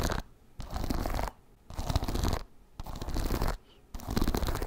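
Fingernails scratch the wooden bristles of a wooden paddle hairbrush held close to the microphone. Repeated bursts of dense, rustling scratching are separated by short quiet gaps, with a heavy low rumble under bright crackle.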